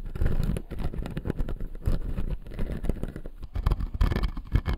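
Fingertips and nails scratch and tap the blue plastic upper teeth of a clear acrylic dental model. A dense stream of short, dry taps and scratchy rubbing is heard, heavy in low, muffled tones with quick fading clicks.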